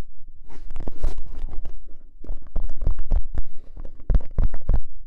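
Fingernails of both hands scratch and tap the top edge of a tall, hollow cardboard crisp can with a metal rim. Irregular dry scratching and quick taps give short, bright bursts over a low, hollow thump that fades almost at once.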